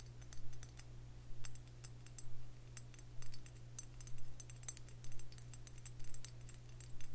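Fingernails tap and scratch near the neck and handle of a Tullamore Dew stoneware whiskey jug with a cream body and green neck and handle. The result is quick, light, dry clicks and ticks in uneven bursts over a steady low hum.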